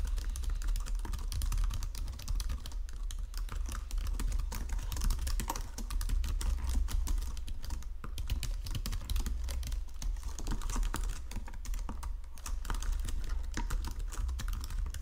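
Fingertips with painted nails type steadily across the low-profile keys of a full-size white and silver plastic Logitech keyboard resting on a marble desk. The result is a dense, continuous run of quick, short clicks and taps over a steady low hum.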